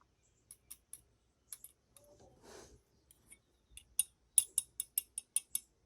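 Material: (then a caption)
Diecast metal. The wing of a full diecast metal model airliner is tapped with metal tweezers, producing about a dozen sharp, bright, high-pitched clicks with almost no ring, plus a brief soft rustle in the middle. The taps grow louder and quicker toward the end, and the crisp tone marks the wing as metal rather than resin.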